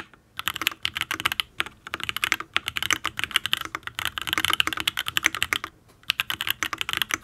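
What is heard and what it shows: Fingertips type steadily on a full-size custom Matrix mechanical keyboard with an aluminium case, ABS keycaps and Tealios V2 linear switches. Quick runs of crisp, bright, clacky keystrokes with almost no low end and no ring, broken by brief pauses near the start, in the middle, and just before the end.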